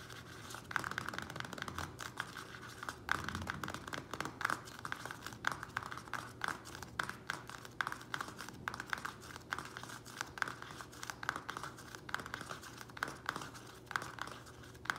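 Fingernails of both hands rapidly tap and scratch the thin plastic sides of a small square black plastic nursery pot filled with soil, held on a table. The result is a dense stream of short, dry clicks and crinkly scratches with no ring, centred around 1.5 kHz, with occasional bright edges.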